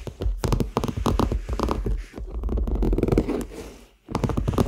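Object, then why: Leather handbag. Fingertips and nails tap and scratch the surface of a hollow, medium-sized red handbag of smooth, likely faux leather, held up close to the microphones. The result is a quick run of dull, low, thuddy taps mixed with soft scratching that stop almost instantly with no ring. The sound briefly goes quiet near the end before the tapping resumes.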